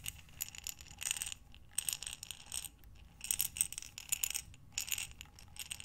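A glass mason jar with a metal lid, full of buttons, is tilted and turned in both hands. The buttons slide and clink against the glass in bright, rattling bursts separated by short pauses.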